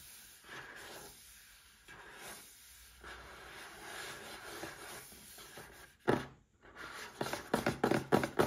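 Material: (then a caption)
Cardboard. Fingertips and short nails rub and scratch across the printed front and sides of a small upright cardboard box holding a Paladone Mario Kart glass. Soft, hissy friction continues for about six seconds, then gives way to sharper, louder scratching bursts toward the end.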